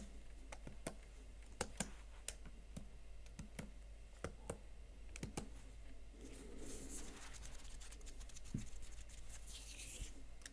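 Fingertips and nails tap the chiclet plastic keys of a Huawei MateBook X Pro, a slim laptop keyboard set in a blue metal body. Single fingers first give sharp, quiet clicks spaced apart over a low steady hum. Then both hands tap in denser, brighter scratchy flurries.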